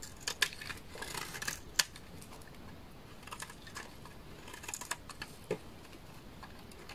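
A knife blade shaves strips from the face of a solid, translucent amber bar of laundry soap. Soft, dry scraping and crisp, bright clicks come at an irregular pace, with a few sharper snaps standing out above a quiet background.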